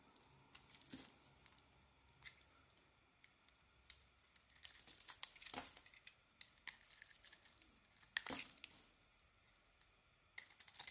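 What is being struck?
Soap bar shaved with a small metal blade.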